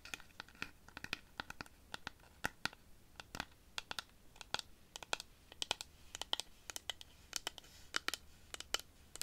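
Long fingernails scratch and tap the spiny, ridged wood of a long, hollow dried-cactus rainstick with a striped yarn band, held upright. The result is a rapid, irregular series of quiet, dry, bright clicks and scrapes with almost no ring and very little low end.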